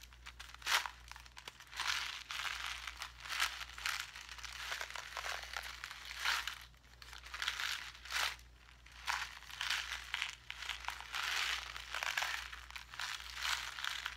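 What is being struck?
Clear plastic blister pack on cardboard backing holding small craft gems.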